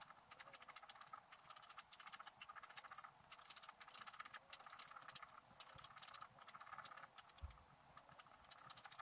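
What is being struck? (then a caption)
Coated scratch-art paper scraped with a wooden stylus. A thin wooden stylus scratches short, quick strokes into the coating of an A5-size sheet of scratch-art paper printed with a sorceress picture, lying on a white table and held down by one hand. The result is a steady stream of dry, bright, rasping scratches in short bursts, with almost no low end and no ring after each stroke.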